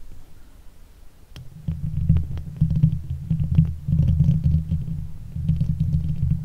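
Long acrylic nails of both hands scratch and tap the hollow steel mesh grille of a silver Blue Yeti microphone. The result is a dense, low, rumbling scrape with quick soft taps mixed in. It starts faint and grows louder and steadier after the first second and a half.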